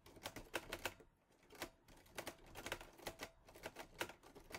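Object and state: Metal manual typewriter.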